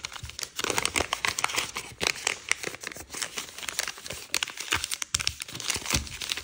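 A thin, multicolour patterned sheet of origami paper is folded on a wooden table and pressed flat with the fingertips, its creases rubbed. The result is dense, crisp crinkling and papery rustling, bright and high with little low end, in quick overlapping bursts and sharper snaps throughout.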